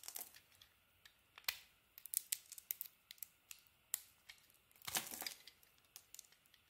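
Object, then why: Bar of soap scraped with a knife blade. A utility knife scrapes a purple layer and yellow shavings off the edge of a solid yellow bar of soap. Quiet, bright, dry crackling ticks and short scrapes come in an irregular run. A longer, denser scraping burst sounds near the end.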